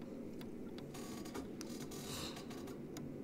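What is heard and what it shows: A fingertip and nail tap on the pink roof piece of an assembled Lego castle made of hard, hollow plastic bricks. Light, dry clicks sound out over a steady low background hum.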